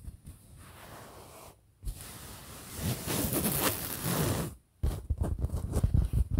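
A printed fabric pillow in front of the mic is scratched and tapped with the fingertips of both hands. Soft, then louder, bright hissing scratches on the fabric give way, after a brief pause, to a rapid, uneven run of dull, low thumping taps.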